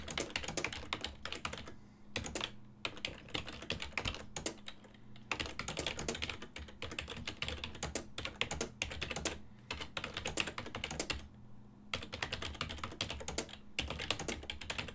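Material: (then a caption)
Plastic. Fingertips type rapidly and continuously on a full-size black and silver plastic desktop keyboard with a hollow housing, producing dense, bright, short plastic key taps. Brief pauses in the typing fall around 2, 5 and 11 seconds, and a faint steady low hum runs underneath throughout.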